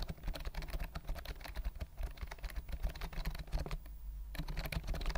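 A white plastic compact keyboard with round mint keys and a hollow body is held upright close to the mic while fingertips press and tap the keys. It produces a rapid stream of light, clicky typing taps with a deep, hollow low-end thump under each one. The taps are soft and dry with almost no ring.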